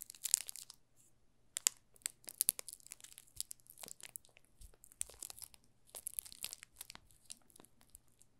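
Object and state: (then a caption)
Plastic-wrapped bar soap. A yellow solid bar of soap in clear plastic film with a printed label on the back is turned in both hands while fingertips rub the film along its edges and face. The film gives off soft, bright crinkles and crackles in irregular bursts, with quiet pauses between them and a faint low hum underneath.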